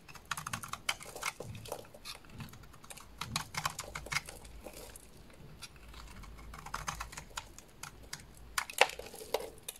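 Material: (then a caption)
Soap. A solid purple bar of soap held in the hands is scraped and shaved with a small dark blade, peeling off crumbly curls. Quiet, dense bursts of crisp, dry scratching and crackling clicks come in quick runs, bright and short with no ring. One sharper crack near the end stands out.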